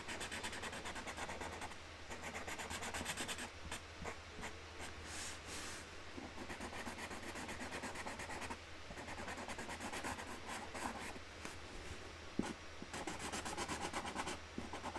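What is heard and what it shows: A hand colours with a yellow Sharpie marker on a flat cardboard box lid, rubbing the tip around a flower outline in colouring strokes. The result is a steady, dry, scratchy rubbing with bright, raspy texture over a constant low hum, broken by brief pauses between strokes.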